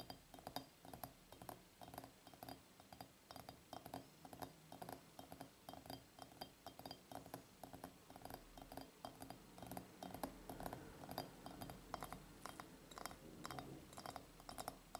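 A glass surface is tapped with the fingers, producing a steady stream of quick, irregular clinking taps with short, bright rings. The tapping continues throughout at a quiet level.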